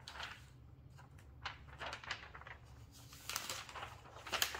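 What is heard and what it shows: Long-nailed fingers turn, lift and flatten the thin glossy pages of an open magazine lying on a table, rubbing and flipping the paper. Quiet, bright crinkling swishes and papery rustles come in short bursts over a faint low hum.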